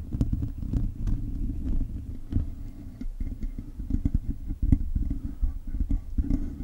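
Fingertips and short nails of both hands scratch a hollow, silver metal mesh microphone grille. The result is a steady, muffled, low rumbling scrape broken by many quick, irregular crackles and taps.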